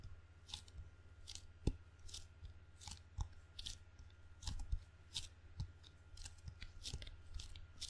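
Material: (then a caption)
Rubber. Fingertips tap and peel from the sticky black rubber face of a table tennis paddle with a solid wood blade. The result is a steady run of quiet, short, crackly peels and clicks that flash bright and high, some with a soft low thud. A constant low hum sits underneath.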